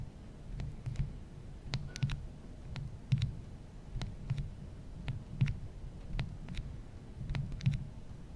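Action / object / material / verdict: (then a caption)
tap / glass and metal smartphone / glass, metal / none. Fingertips tap and rub the glass screen and metal bezel near the home button of an original iPhone, a small solid handheld smartphone. Quiet, soft taps and faint clicks come at an irregular pace, each with a brief bright tick over a low, dull thud that dies away almost at once.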